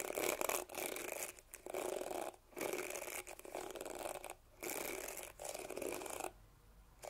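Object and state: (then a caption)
Plastic detangling hairbrush. Fingertips and nails scratch and flick across the short, flexible plastic bristles of a handheld teal plastic detangling brush (Tangle Teezer style), held close to the microphone. The result is dense, bright, crackling rasps in bursts, separated by brief quiet pauses and a longer lull near the end.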